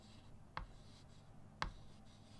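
Fingertips hold a white chalk stick against a small flat chalkboard in a wooden frame, drawing leaves with short scratching strokes and taps on the board. Two sharp, brief chalk taps with a bright click stand out about a second apart over a quiet, soft low background.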